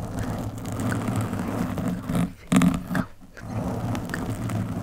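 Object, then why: Foam microphone windscreen. Long metallic nails scratch the surface of a black foam windscreen on a microphone, using one or both hands. The result is a dense, muffled scratching rumble concentrated in the low end, with little high content. It drops briefly near the middle, flares into a louder burst, dips quiet again, then resumes steadily.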